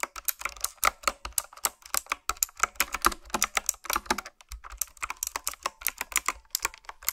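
Fingertips type on a retro typewriter-style keyboard with round black plastic keycaps. A quick, steady run of sharp, bright keystroke clicks follows, each dying away almost at once with little low end.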